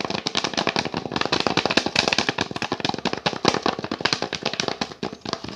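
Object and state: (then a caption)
Wooden picture frame. Fingertips and nails tap and scratch quickly on an orange-painted wooden picture frame and its brown backing board, held close to the mic. The result is a rapid, steady stream of dry, sharp clicks with a bright edge, little low end, and almost no ring between hits.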